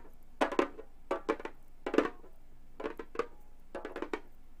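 Long gold metal claw tips, worn with chained hand jewelry on both hands, tap and scratch the synthetic skin head of a flat, hollow Remo frame drum. Short, dry, hollow-sounding taps come in five quick clusters, centered in the low-mid range around 300 Hz with brief rasping scratches reaching into the highs. Each tap dies away almost at once against a quiet background.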